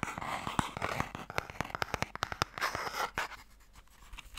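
Fingernails tap quickly and scratch on the lid of a small, hollow wooden Mikado box held upright. About two dozen sharp, dry clicks ring out between bursts of bright, rasping scratches, then fade to quieter light scratching near the end.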